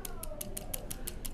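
A small glass bead on a fishing rig is shaken against the weight, making eight quick, bright clicks at an even rhythm. The rattle is used to draw bedding bass back to the bait.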